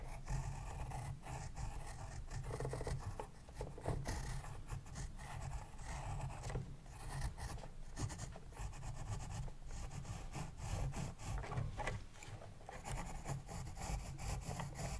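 A pencil tip scratches steadily over the paper of an open spiral-bound paper sketchbook while writing and drawing. Quiet, dry scraping strokes rise and fall over a constant low hum throughout.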